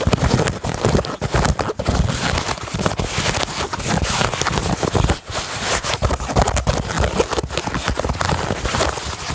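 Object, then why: Knit fabric sneaker upper and laces. Nails scratch the grey Primeknit fabric upper and laces of a hollow Yeezy 350 sneaker. The result is a dense, continuous run of quick, dry rasping and soft tapping textures with a crackly, broadband hiss and a muffled low thump underneath.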